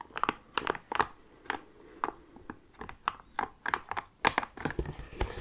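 An orange Kleenex cardboard tissue box, hollow with tissues inside, is held in the hands and tapped and rubbed with the fingertips. The result is an irregular series of short, dry, hollow taps centered around 900 Hz, with bright crinkly edges and soft scratchy rubbing between them.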